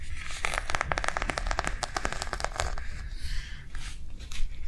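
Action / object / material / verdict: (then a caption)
tap / plastic cardholder book / plastic / none. Long nails tap rapidly on a small white plastic cardholder book with a snap closure, tilted on a table. The taps are quick, crisp clicks with a light crinkly edge that fade almost instantly, over a steady low hum. The tapping thins out toward the end into a few softer, scattered clicks.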